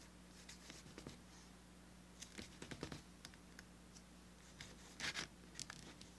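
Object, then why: Small thin piece of vegetable-tanned leather. A small, thin, solid tan piece of veg-tanned leather lies on a cutting mat while its burnished flesh side is rubbed and smoothed with fingertips. Quiet, dry scratchy swipes and soft brushing strokes come in short bright bursts, with a louder pair near the end, over a steady low hum.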